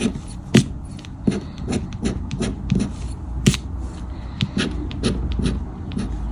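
A thin paper "Grande Sorte" scratch-off lottery ticket with a latex coating lies flat on a dark fabric shirt, held down by fingertips while a black round plastic or rubber scraper disc scratches off the coating. Repeated dry rubbing and rasping strokes sound, with sharper scrapes standing out over a low, steady rustle.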